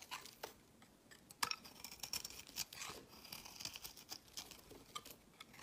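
A solid, rectangular, translucent amber soap bar is held in the hand and shaved with a utility-knife blade, peeling off pale curled shavings. The clip is a quiet series of short, bright scraping and crackling strokes with almost no low end. One sharper crisp cut stands out near the middle.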